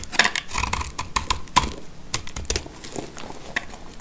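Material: Soap.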